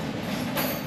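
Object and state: Nothing is struck.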